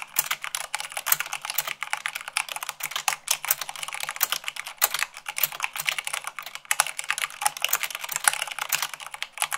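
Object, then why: Plastic mechanical keyboard keys. Rapid typing at about 98 words per minute on a white plastic mechanical keyboard, struck with fingertips and long nails. A dense, steady stream of short, bright clicks and clacks overlaps quickly, with almost no low end and a very quick decay after each keystroke.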